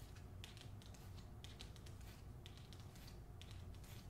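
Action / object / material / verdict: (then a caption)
scrape / hardcover book with paper dust jacket / paper / none. A hardcover novel with a glossy paper dust jacket is held by its top edge while long nails scratch and tap its lower front cover. Soft, quiet clusters of crisp, bright taps and papery scratches recur about once a second over a steady low rumble.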